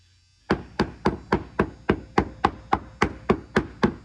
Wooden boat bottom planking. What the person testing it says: here's a frame right here. You hear that? Dull thud here.